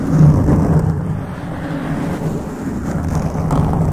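Fingertips of both hands scratch a black foam microphone windscreen. The result is a continuous muffled, low rumbling scrape with a dull hum-like tone, lacking high or bright content, and staying fairly steady in loudness throughout.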